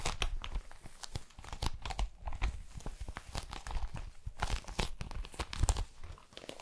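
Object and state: Metallic foil pouch being crinkled.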